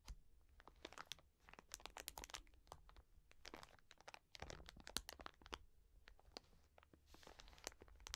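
Long nails scratch and tap the crinkly plastic film of a soft wet wipes pack, about 20 cm and full of wipes, lying on a fleece surface. Quiet, dense crackling and crinkling mix with sharp, bright clicks that stop almost instantly, over a faint low rumble. The taps come in uneven clusters, with a louder burst of scratching midway.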